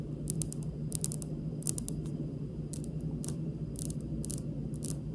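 Long pink acrylic nails on both hands tap lightly and slowly across a large, solid, polished, speckled granite kitchen countertop. Short, crisp clicks come in quick clusters over a steady low hum.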